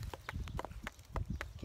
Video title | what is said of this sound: Getting HELP! in the Garden | they make a funny sound when you tap them you can hear that they kind of sound hollow